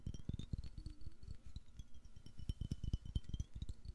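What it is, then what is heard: Glass jar. A medium, clear, hollow glass jar, possibly holding a little liquid, is held in the hand and turned in front of the mic while fingertips and nails tap it quickly. Each tap gives a short, dull, low knock with faint bright glassy clinks ringing above it.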